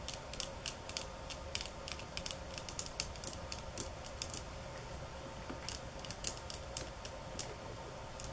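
Long nails scratch and tap across the thin slats of a bamboo slat mat, making sharp, bright clicks that come in quick bursts over a steady low hiss. The taps alternate between fast, hard runs and slower, softer strokes, each dying away almost at once.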